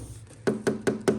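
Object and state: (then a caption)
Plastic lip spoiler. Four knocks on a cheap, freshly unboxed plastic lip spoiler for a Tesla Model 3 give short, hollow taps with a dull mid-range tone around 380 Hz and almost no ring. The sound is clearly plastic, as expected for the low price.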